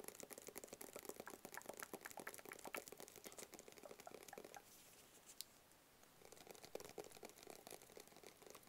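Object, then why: Cardboard box. Long fingernails tap quickly on a flat black cardboard gift box with printed text, making dense, dry, bright clicking taps. The rapid tapping stops for a quiet stretch with a single sharp click in the middle, then picks up again and carries on to the end.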